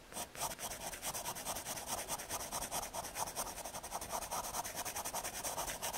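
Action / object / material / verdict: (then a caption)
scrape / MDF fiberboard with graphite pencil / fiberboard / none. A graphite pencil scratches hatching and shading onto the surface of a small, thin square of solid brown MDF fiberboard. Quick back-and-forth scratchy strokes follow one another in a steady, dense stream, bright and dry with a papery hiss and almost no low end.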